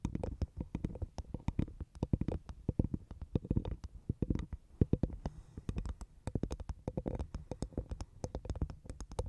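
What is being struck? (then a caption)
Half coconut shell tapped with fingernails. Long nails tap and scratch the top of a dry, hollow half coconut shell with a fibrous husk, placed over the microphone. Dozens of quick, close, hollow taps with a deep, woody thump sound in rapid clusters, mixed with soft scratching.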